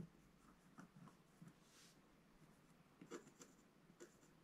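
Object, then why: Scratch-art paper page scratched with a wooden stylus. A wooden scratch stylus scratches and rubs the black coating in the upper area of a solid scratch-art page in a book lying flat on a table. Quiet, soft scratching is broken by short, dry scrapes with bright, hissy edges over a low hum. Each scrape stops quickly, with no ring.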